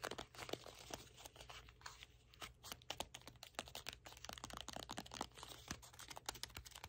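A red cardboard box is held in both hands while fingertips and nails tap its top and scratch its sides. The result is a quiet, rapid stream of dry, bright taps, crinkly scrapes and crackles over a faint, steady low hum.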